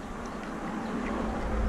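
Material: Nothing is struck.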